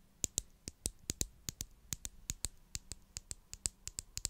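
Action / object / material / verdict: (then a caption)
tap / small plastic glue stick tube tapped with fingernails / plastic / none. Long acrylic nails tap and scratch the sides of a small purple plastic glue stick tube with a cap, held in hand close to the mic. About 22 sharp, dry clicks come in a quick, uneven rhythm, bright and high with almost no ring, over a faint low hum.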